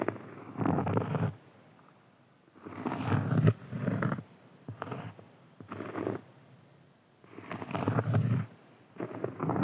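A large, round, flat solid cork board is scratched with fingertips and nails, giving bursts of soft, low, rumbling scratching. The bursts are separated by quiet pauses, and most of their energy sits in the low range with little high content.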